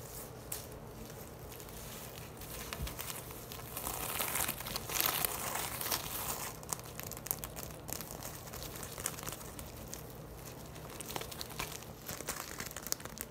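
Long lilac nails scratch and tap the woven surface of a large, hollow, empty-looking tote of braided straw with brown leather tabs and red "Bonjour" embroidery, held upright on a table. Dry, crinkly rustling and quick, uneven taps run throughout, bright and papery. The sound grows louder and denser in the middle before easing back to lighter scratching.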